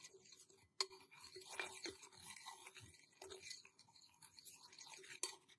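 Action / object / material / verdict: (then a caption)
scrape / small stainless steel cup / stainless steel / none. A small, empty, hollow stainless steel cup is held in one hand while fingertips tap and scratch its outside and a thin stick taps inside it. The result is a quiet, bright mix of scratchy rustling and sharp metallic ticks with high ringing tones that die away almost at once.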